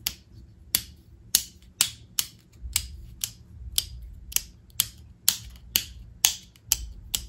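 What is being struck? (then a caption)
Hard plastic inline lamp cord switch. Long acrylic nails tap, click and scratch the hollow casing of a small black hard-plastic rocker switch on a lamp cord, held in the hand. Fifteen sharp, bright clicks land at an uneven pace, each dying away almost instantly, with a faint low rumble and scratching between them.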